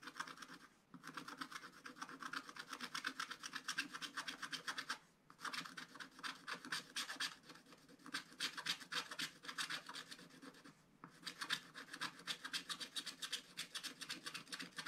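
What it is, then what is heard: Scratch-art paper being scratched. A wooden stylus scratches the black coating off a thin coated paper page of a spiral scratch book with quick strokes. The dry, bright scratching comes in rapid, uneven bursts, broken by short pauses near 1, 5 and 11 seconds.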